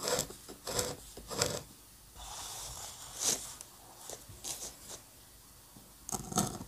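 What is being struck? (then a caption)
Steel-nib dip pen on drawing paper. A steel-nib dip pen scratches lines and hatching onto the surface of a flat paper drawing sheet for an architectural ink drawing. Short, bright, raspy scratching strokes come in irregular bursts, with a longer, softer stroke in the middle and quiet gaps between.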